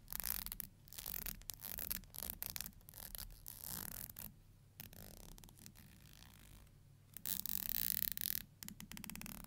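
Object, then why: Plastic hair comb. Long nails run along and strum the teeth of a thin, solid black plastic hair comb held in the hands. Bright, raspy scratching comes in quick bursts, eases into a softer steady rasp midway, then returns in louder strums over a faint low hum.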